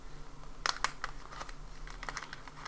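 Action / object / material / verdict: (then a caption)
scrape / frosted plastic zip bag / plastic / none. A small frosted, translucent plastic ziplock bag with an item inside is held in both hands, rubbed and crinkled with the fingertips while its zip seal is worked open. Short, sharp, bright crinkles and clicks pop up irregularly over a faint, steady low hum, each snapping off almost instantly.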